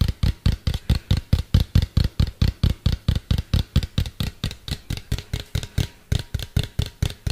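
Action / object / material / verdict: tap / plastic cylindrical container / plastic / none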